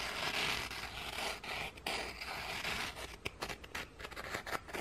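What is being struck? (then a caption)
Gingerbread cookies. Two flat, solid, scalloped gingerbread cookies are held up close while fingers and nails scrape and rub the textured back of one against the other. The result is a steady, bright, dry scratching that breaks into shorter, choppier rasping strokes in the last couple of seconds.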